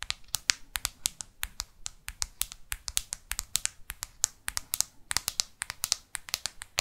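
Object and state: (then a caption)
Plastic smartphone back. Long artificial nails scratch and tap on the matte plastic back and edges of a black smartphone. The result is a rapid, uneven series of sharp, bright clicks that die away almost instantly, over a faint scratchy hiss.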